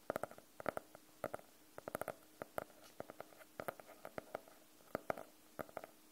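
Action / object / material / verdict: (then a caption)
tap / faux-leather hardcover notebook / faux leather / none. Fingernails tap and lightly scratch across the cover of a closed, solid navy faux-leather hardcover notebook. Around 26 short, dry taps come in quick irregular clusters, each with a hollow mid-pitched knock and a brief bright click. They die away almost instantly against soft, faint scratching.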